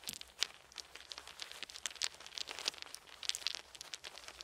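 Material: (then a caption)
Wood. Small round solid wooden beads are held in both cupped hands while the fingers shift and rattle them, letting a few fall onto a soft blanket. A quiet, steady stream of quick, bright clicks and light crinkly rattles is heard, with almost no low end. Each tap stops instantly.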